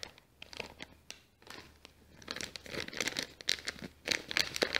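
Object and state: Kraft paper bag.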